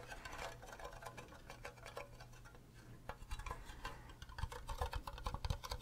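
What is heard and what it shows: A fingernail taps on the faces and bottom of an empty, green, cube-shaped hollow plastic Minecraft creeper mug. The result is a quick run of short, dry plastic clicks with little ring, growing louder toward the end over a steady low hum.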